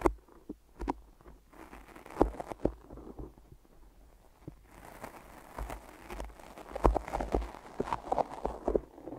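Fingertips press and release against sticky tape wrapped around microphone ears, tapping on the tacky surface. Soft, short crackling taps and sticky peeling clicks come in an irregular stream over a faint low rumble, with sharper taps standing out near the start and toward the end.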